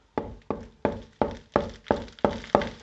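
Backing coat plaster on a brick wall, under flaky skin coats, is tapped eight times in a steady rhythm, each tap a short, hollow knock with a mid-pitched tone that dies away quickly. The backing coat is hollow and blown off the brick, so the whole section will have to come off back to the brick.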